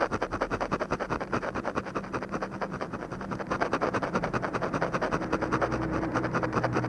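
A ballpoint pen tip scratches rapid, short strokes across a flat paper drawing sheet to shade an eye. The result is a dense, steady run of dry, papery scratches at about two and a half strokes per second. Faint low tones hum underneath.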